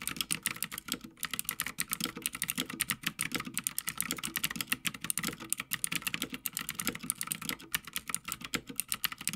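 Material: Plastic.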